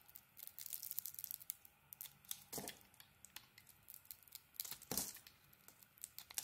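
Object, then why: Bar of soap cut by a utility blade. A utility blade carves the edges of a solid green glitter bar of soap, producing quiet, bright scraping and crisp crackling shaves. The cuts come as a rapid, uneven run of short bursts with almost no ring, a few louder strokes standing out among the light, dry flaking sounds.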